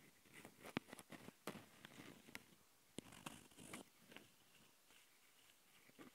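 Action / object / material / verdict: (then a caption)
scrape / handheld recorder with metal mesh mic grilles and plastic body / metal mesh / none. Long nails scratch the metal mesh grilles of a Tascam handheld recorder's microphone capsules and the top of its black plastic body. Close, dry scratching and rustling comes in irregular bursts, punctuated by sharp, bright clicks and taps that stop dead with no ring.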